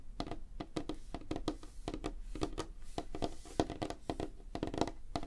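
Fingertips and nails of both hands tap rapidly on a flat, solid, light wooden tabletop. The result is a fast, uneven patter of short, dry knocks with a warm low-mid body and faint clicky edges, each dying away almost instantly.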